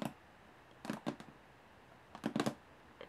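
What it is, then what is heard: Aluminum case tapped with fingernails. Long polished nails on both hands tap the diamond-textured top panel of a medium hollow aluminum carry case with metal latches. Eight quick, dry taps come in loose clusters, each a brief hollow click that dies away almost at once.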